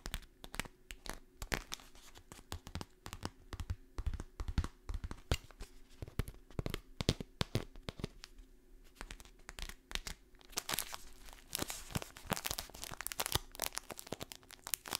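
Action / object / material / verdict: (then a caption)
scrape / kraft paper stand-up pouch / kraft paper / none. A partly filled kraft paper stand-up pouch with a label is folded, crinkled and scratched with long nails. Dense papery crinkling and sharp crackles run throughout, becoming brighter and busier rustling after about ten seconds. The sounds are quiet and close, with each crackle ending almost at once.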